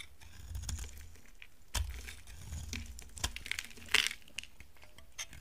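A utility knife blade carves into a solid, dry peach bar soap, making crisp, crunchy scraping and crumbling sounds with a few sharp, bright clicks as pieces break away. A soft low rumble sits underneath the dry, high crackle.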